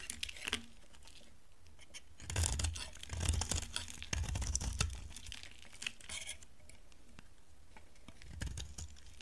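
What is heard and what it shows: A steel utility knife blade scrapes and carves a solid, dry, palm-sized orange bar of soap held in one hand, peeling shavings off onto a white surface. Crisp, crumbly scraping and crackling comes in irregular bursts, densest in the middle of the clip, with a short final flurry near the end. Each stroke has bright, papery texture over a soft low rumble.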